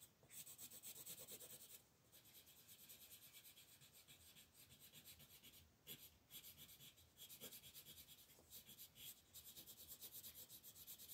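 A wooden colored pencil shades the antlers on a thin white paper coloring sheet resting on a table, using rapid back-and-forth rubbing strokes. The result is a steady, bright, scratchy rasp with a fast rhythmic pulse, broken by several brief pauses between bursts of strokes.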